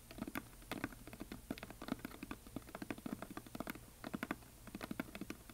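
Fingernails tap and scratch the side edges of a painted, solid wooden heart plaque held at both sides. A steady patter of quick, dry, clicky taps with short scratches in between; each tap stops almost at once with no ring. Many separate hits are heard, each with a low woody knock.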